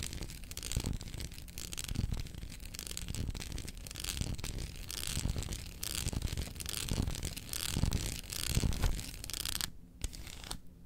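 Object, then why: Dark chocolate bar on foil wrapper. Long acrylic nails rapidly tap and scratch the segments of a solid dark chocolate bar resting on its foil wrapper and held in one hand. The result is a dense, continuous run of dull low thumps under a bright, dry scratching texture, with a brief near-silent break just before the end.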